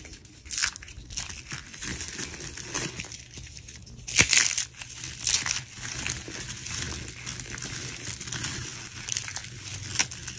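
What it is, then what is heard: Dry soap curls crushed. Hands crush and rub multicolored dried soap curls and a heap of crumbled soap flakes between the fingers. The result is a continuous dry, bright crunching and crinkling, with louder bursts near the start, around the middle, and toward the end.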